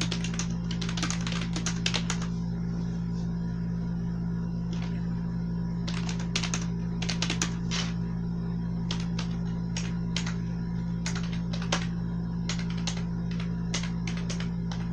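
Fingertips with long nails type rapidly on a full-size black plastic membrane gaming keyboard with blue accents, lying flat on a bed sheet. Soft, bright key clicks come in irregular bursts and flurries over a steady low hum that runs throughout.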